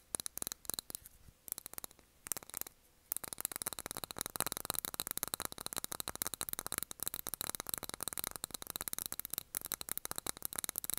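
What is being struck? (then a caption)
Glass candle jar with cork lid. A small wax-filled glass jar candle with a cork lid, held in both hands, is tapped on the glass with fingernails. Sparse, bright, clicky taps in the first three seconds give way to fast, steady tapping that continues to the end, with short, dry, high-pitched ticks.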